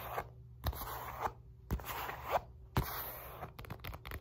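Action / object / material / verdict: scrape / padded synthetic leather punch mitt / synthetic leather / none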